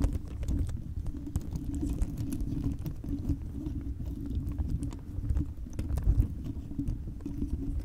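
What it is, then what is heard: Plastic bead-covered microphone ball. Long chrome nails tap and scratch a fist-sized round microphone cover studded with many clear hollow plastic beads. The result is a continuous, dense stream of quick clicks and scratchy rustles over a heavy low rumble, with bright ticks standing out.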